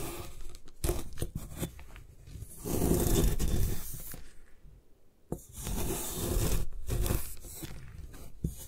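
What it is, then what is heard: Gym chalk block being scraped. A metal putty knife shaves and scrapes the side of a palm-sized solid white block of compressed magnesium carbonate gym chalk held in one hand, with a few loose plastic bead bits nearby. Dry, gritty scraping and tearing strokes come in uneven bursts, swelling into longer, louder rasping passes. The side comes away in powdery flakes.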